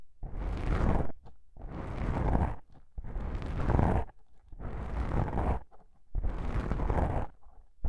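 Long pink-painted nails scratch two small black foam windscreen covers on a binaural microphone. Five rough, rumbling bursts of scratching, each about a second long, are separated by short quiet gaps and sound heavy in the low end with a bright, hissy top.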